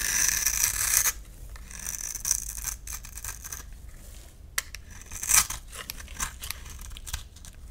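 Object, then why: Soap bar scraped with a knife blade. A utility knife blade scrapes and carves a solid oblong lilac bar of soap held in the palm, breaking off flaky chunks. A dense, bright scraping rasp fills the first second, then gives way to quieter, scattered scrapes and crisp high clicks, with a few sharper snaps standing out near the middle and later.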